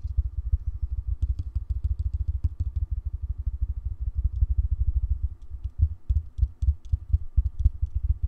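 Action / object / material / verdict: tap / rubberized plastic cylindrical speaker / rubberized plastic / none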